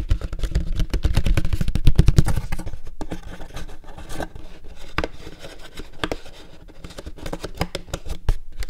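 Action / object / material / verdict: tap / paperboard popcorn bucket / paperboard / none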